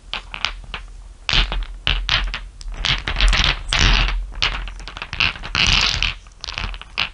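Long nails and fingertips tap and rub across a bed of many small solid glass marbles resting on dark fur. The result is a dense, irregular stream of bright clicks and clattering marble-on-marble rattles, mixed with soft scraping and rubbing between the taps.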